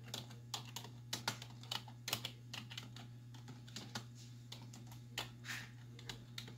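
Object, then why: Plastic computer keyboard. Both hands with long white nails type on a black plastic desktop keyboard with hollow keys, striking with fingertips and nail tips. Quick, bright, clicky taps come in an uneven run, each dying away almost at once. A steady low hum sits underneath throughout.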